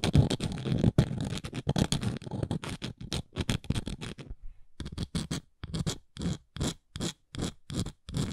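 Long nails scratch and tap across the engraved text and dots on the flat side of a round wooden coaster. Dense, rapid scratching strokes in the first half give way to spaced, bright, dry scrapes after a short pause.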